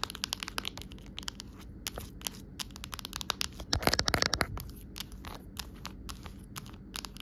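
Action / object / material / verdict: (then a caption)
tap / clear plastic phone case / plastic / none. Long nails tap and scratch an empty, amber-tinted clear plastic phone case lying on a rug. The result is a quick, irregular stream of sharp, bright clicks and crinkly scratches, with a denser, louder burst of tapping near the middle.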